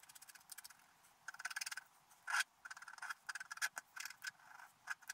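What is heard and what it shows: A wooden stylus held in the fingers scratches the black layer off a flat, wax-coated scratch art sheet from a scratch book lying on a table, while the other hand holds the sheet still to reveal the colours beneath. Quick, dry, raspy strokes come in rapid bursts and longer scraping runs, with a bright, papery texture and no low end.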